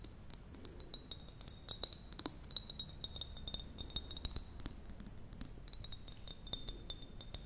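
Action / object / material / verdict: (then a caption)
tap / small glass jar / glass / none. Long nails tap rapidly on the sides of a small, clear, apparently empty glass jar with a metal lid. Each tap gives a short, bright glassy clink, with a high ringing tone over a low, steady background hum.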